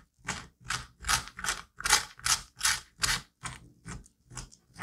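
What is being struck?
Pumpkin flesh.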